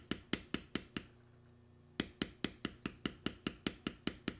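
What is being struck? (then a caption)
Vegetable-tanned leather panel struck through a steel beveler stamp on stone. A small steel beveler stamp, held against a flat, solid piece of tan vegetable-tanned leather carved with knotwork and lying on a stone slab, is struck by a mallet while stamping. Seventeen short, sharp knocks ring out in a steady rhythm: five, then a pause of about a second with only a faint low hum, then twelve more. Each tap is crisp and dry with a bright click and almost no ring.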